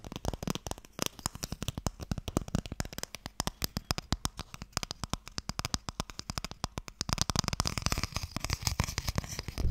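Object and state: Wooden Mikado box.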